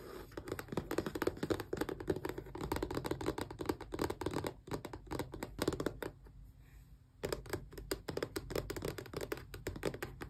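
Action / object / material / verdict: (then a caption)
scrape / small cardboard box / cardboard / none. Long painted press-on nails scratch and tap rapidly along the sides of a small, closed, hollow rectangular cardboard retail box for an Xbox controller lying on a towel. The result is dense, dry, hollow clicks and scrapes with a low-mid body, with a brief quiet pause near the six-second mark before the tapping resumes.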